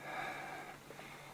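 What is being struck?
Nothing is struck.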